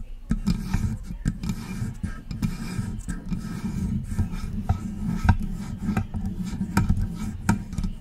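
Long press-on nails scratch and tap along the sides of a silver metal USB desktop microphone with a hollow body. The result is a steady, low, rumbling scrape broken by short, sharp clicks that spread up into bright highs.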